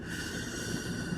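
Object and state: Nothing is struck.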